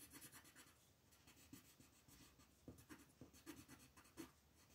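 An orange wooden colored pencil is rubbed back and forth in quick shading strokes across a thin printed paper coloring book page lying flat on a wooden table, while the other hand, with long nails, holds the page. The result is a soft, dry, bright scratching with about eight sharper stroke accents standing out, the strongest near the end.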